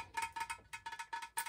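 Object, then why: Ceramic lamp. A thrifted vintage ceramic lamp with colourful light bulbs inside, signed 1979, is tapped in a quick, uneven series. Each tap gives a bright, bell-like ping centred near 930 Hz that rings only briefly before the next one.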